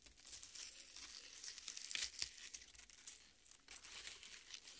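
Long red nails scratch and tear into the soft, wet red flesh of a half watermelon resting on a plate. The result is a continuous, bright, crinkly tearing sound with quick, irregular scrapes and a few sharper crunches near the middle.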